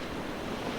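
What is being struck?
Nothing is struck.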